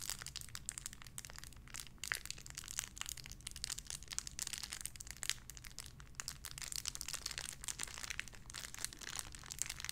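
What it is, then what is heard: Plastic bag with squishy toy, crinkled. A small clear plastic bag holding a pink paw squishy toy is firmly squeezed and crinkled with fingertips. The result is a dense, continuous stream of sharp, bright crackles and crinkles over a faint, steady low hum, all at a quiet level.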